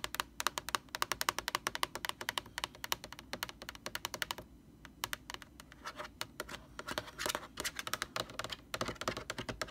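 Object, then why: Plastic laundry bottle. Long orange nails tap and scratch on the sides of a large, hollow white plastic Lysol laundry sanitizer jug. Rapid, bright, dry clicks come in quick bursts with almost no ring, then break off briefly around the middle. The tapping picks back up, mixed with hissy scratching across the plastic.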